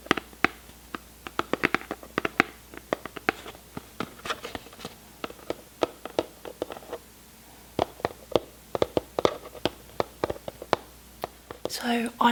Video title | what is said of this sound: ASMR: I Try Recreating my Favourite - Will You Get Tingles?? (tapping, scratching, crinkling etc...) | i love the tapping sound that it makes